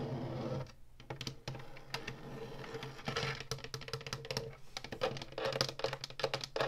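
A hollow plastic retro game console is tapped on its buttons and scratched along its ridged top and woodgrain front edge with long nails. Quick, dry clicks and taps mix with rasping scratches over a steady low hum near 129 Hz.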